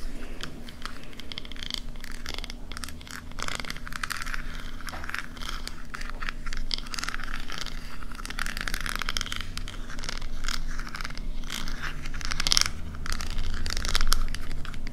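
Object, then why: Small metal shell-shaped compact mirror case. Long nails tap and scratch the ridged lid and edge seam of a small silver metal scallop-shell compact mirror, a hollow closed case held in the hand. Quick, irregular clicks and raspy scrapes over the ridges come through bright against a steady low hum, growing slightly louder toward the end.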